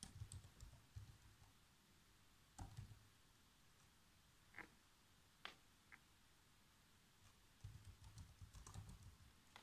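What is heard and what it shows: Fingertips with short nails type fast across the keys of a black plastic chiclet laptop keyboard, producing quick, quiet taps. Soft, low thuds come in bursts at the start and end, with a few sharper, brighter clicks scattered through a pause in the middle.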